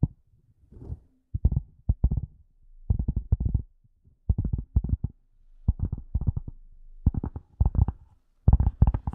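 A flat, hollow, light gray leather glasses case, held horizontally and then vertically in front of a microphone, is tapped and scratched with the long nails of both hands. The result is quick clusters of dull, low, hollow thumps separated by brief pauses, with faint scratching in between and almost nothing bright.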